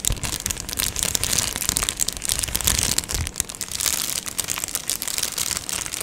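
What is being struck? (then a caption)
Plastic padded mailer envelope. A medium-size Amazon Prime padded plastic mailer, hollow with contents inside, is held up and scratched and squeezed with long nails and fingers. A continuous, bright crinkling and scratching texture fills the clip with dense, rapid crackles and little low end, rising and falling slightly in loudness as the plastic is worked.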